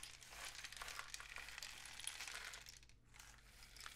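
A long, hollow, painted cardboard rain stick filled with loose grains is held diagonally in both hands and slowly tilted and rotated. The grains make a dense, bright, rain-like patter of fine ticks and crackles, with a faint steady low hum underneath. The patter briefly thins out just before the three-second mark, then picks up again.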